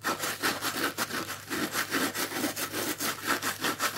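Fingertips scratch and rub the pink, coarse plastic scouring layer of a dry, palm-sized, strawberry-shaped sponge with yellow foam underneath, held in one hand. The result is a steady run of bright, raspy scratching strokes, each a short gritty swish that rises and falls in a loose back-and-forth rhythm.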